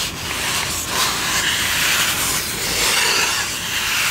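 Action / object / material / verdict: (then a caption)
scrape / polystyrene foam cup / polystyrene foam / none. A white, empty-looking styrofoam drinking cup is held in both hands while its hollow side is rubbed and scratched with long manicured nails. The result is a steady, bright, hissy scraping that runs throughout, with almost no low end.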